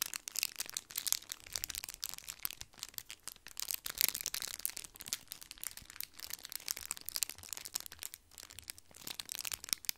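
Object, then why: Thin foil candy wrappers. Two matching small twisted red foil candy wrappers, one in each hand, are crushed and crinkled with the fingertips beside the microphone. The thin crinkly foil gives a dense run of quick, bright crackles and crunches with almost no low end, each snap dying away at once.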